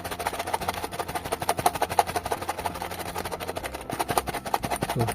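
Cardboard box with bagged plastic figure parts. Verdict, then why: Full. A cardboard blind box holding three tightly packed plastic bags of figure parts is shaken repeatedly. It gives a fast, dense rattle of short, dry knocks with a woody midrange tone, and the parts inside can be heard. The full, packed contents make the shake sound dense.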